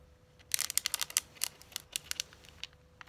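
Long, manicured acrylic nails tap and scratch a flat, hand-sized, hollow, closed red metallic eyeshadow palette case in the Urban Decay Naked Heat style. Eleven sharp, bright clicks come in an irregular burst, mixed with scratchy rasps. Each one stops dead with no ring, over a faint steady hum.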